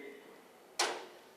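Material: Metal.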